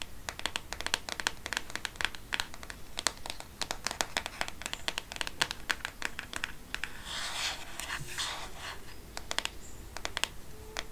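Fingernails tap and scratch the black plastic back of a smartphone held close, producing dense, rapid clicks with very short, bright transients. Around the middle, a brief stretch of softer, hissy scratching blends into the tapping before the sharp taps resume.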